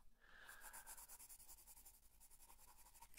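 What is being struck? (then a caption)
Paper coloring book page with colored pencil. A colored pencil, held by the fingertips, makes rapid scratching strokes across the flat paper page of an open coloring book. The quiet, bright, dry scratching comes in a fast run of repeated strokes, with a faint steady tone in the middle range.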